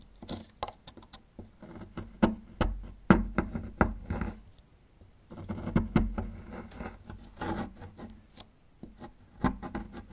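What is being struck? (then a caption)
Small plaster block scraped with a metal chisel. A small metal chisel scrapes and picks at a small, solid plaster fossil excavation block as the block is turned. The result is a run of short, dry scratches and taps, heaviest in the low end, with a quiet pause in the middle and almost no ring after each stroke.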